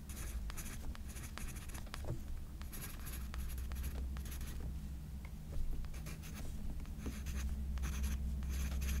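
A hand-held graphite pencil scratches and hatches across a portrait drawing on a page of a spiral-bound paper sketchbook lying flat on a pink flowered cloth. Short bursts of bright, dry scratching come in quick, uneven strokes over a steady low hum.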